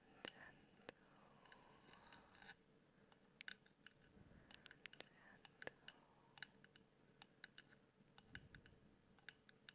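Long black acrylic nails tap and scratch the black hard-plastic body of a handheld 3Dio-style binaural microphone with white silicone ears. Quick, dry, bright clicks come in scattered bursts over a low, quiet background. Softer scratching and possible close mouth sounds run underneath.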